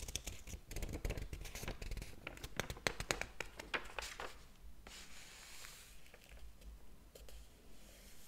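A large, thick hardcover book lies open on a table while fingertips lift and flip its paper pages, the other hand holding the page block. Quick, crisp paper snaps and crinkles come in a dense run for the first four seconds, then ease into a softer, steady rustle with a few light flicks.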